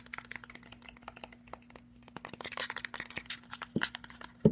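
Fingernails tap and scratch the body and the top of the cap of a hollow, white, cylindrical plastic skincare bottle with a silver metal cap. It makes a quick run of about 28 short, dry clicks and scrapes with bright edges over a faint, steady low hum. The taps build to a louder, fuller knock at the very end.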